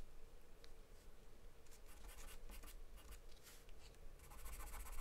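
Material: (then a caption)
Paper. A wooden charcoal pencil scribbles across a flat white paper sheet taped to a dark surface as a hand shades in the eyes and hair of a drawing. Quiet, dry scratching strokes come in bright, hissy bursts over a steady low hum, growing denser and a little louder toward the end.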